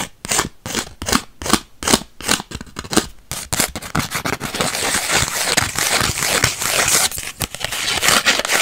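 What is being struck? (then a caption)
Instant photo, paper and plastic. Long white acrylic nails scratch along the face and edge of a small, flat purple Polaroid instant photo (paper/plastic) with a white frame. It begins with separate, rhythmic bright scraping strokes, then shifts into a dense, continuous crackly scratching that grows louder toward the end.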